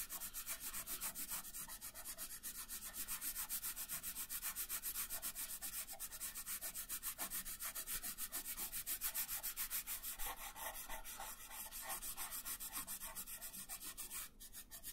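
A light-colored wooden pencil shades a thin paper coloring page resting on a wooden table in steady rubbing strokes, about three to four per second. Each stroke makes a soft, dry, bright scratching hiss with a faint low undertone. The quiet, even rhythm continues throughout, with a slight dip near the end.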